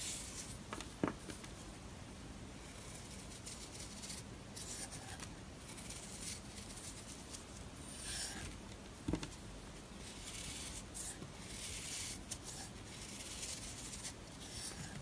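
A metal blade scrapes thin layers off the face of a handheld, solid round disc of marbled pink and blue soap. The quiet, steady scraping has a soft, bright, crackly hiss, with a couple of sharper clicks standing out near the start and about two-thirds of the way through.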